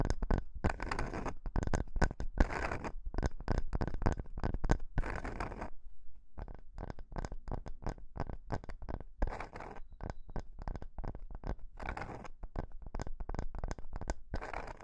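Fingers scratch and tap a solid, round slice of a wooden log held close to the microphone. Rapid dry scratching bursts and short taps follow one another with a deep, close low end and almost no ring. The sound eases briefly around six seconds before the quick scraping and tapping picks up again.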